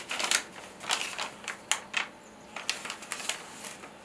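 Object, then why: Thin paper sheet. A single thin handwritten paper letter, held in both hands, is unfolded and flexed. It gives a series of sharp, bright rustles and crinkles with quiet pauses between them and almost no low end.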